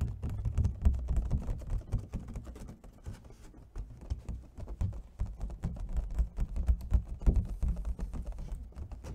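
Fingernails tap quickly and unevenly on the ribbed side and lid of an empty, hollow clear plastic clamshell food container as it is rotated. The taps come as dense, dull, low-heavy clicks at about four per second, each dying away almost instantly. They soften briefly in the middle and grow louder again toward the end.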